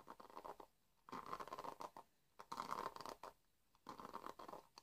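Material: Plastic.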